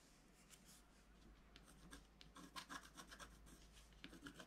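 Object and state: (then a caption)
Scratch art paper being scraped. A wooden stylus scratches the leaves and figure into a flat scratch art paper sheet with a black coating. Quiet, dry rasping strokes with bright, high hiss come faster and sharper toward the middle, over a faint low rumble.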